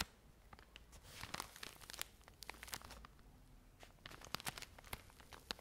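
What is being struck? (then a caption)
Cotton pads in a thin plastic film wrap. Long nails scratch and crinkle the plastic film wrapping a full pack of cotton pads. Quiet, bright crinkling and tearing-like crackles come in quick bursts, with a rise in dense rustling around the middle of the clip.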